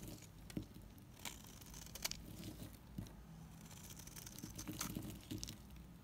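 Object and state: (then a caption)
Bar soap being scraped. A utility knife blade scrapes a green NIVEA bar soap, peeling off curls. The result is quiet, dry crinkly scraping with short crackling, pattering ticks and brief bright flecks over a soft low rumble.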